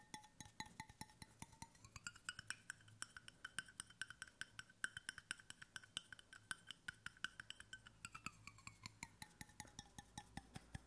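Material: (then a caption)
Stainless steel. Fingertips and nails rapidly tap the side and bottom of a hollow, roughly one-litre brushed stainless steel water bottle held in both hands in front of the microphone. Each sharp, quickly damped click carries a faint metallic ring around 1.5 kHz with bright overtones, and the pitch shifts slightly as the tapping moves across the bottle.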